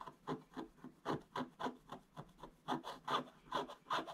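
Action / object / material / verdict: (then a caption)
scrape / scratch-art paper board scratched with a wooden stick / coated paper / none. A wooden stick scratches across a flat, solid, black-coated scratch-art paper board in dense strokes. Thirteen short, dry scraping rasps come in an uneven rhythm, each bright and papery with a mid-range body and almost no low end. Each stroke stops quickly with little ring.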